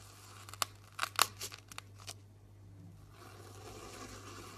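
A knife tip scores a grid of lines into the top surface of a solid pink round soap bar, making about eight short, crisp, bright scratching cuts in the first two seconds. A soft, steady hiss of light scraping follows, with a low hum underneath throughout.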